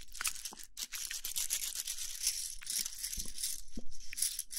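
A handful of thin solid wooden sticks, some painted red and some natural, is held and rolled between both palms and fingertips so the sticks rub and click against each other. The result is a dense, steady stream of dry, bright clicks and scratchy rubbing with no ringing, and each tick stops almost at once.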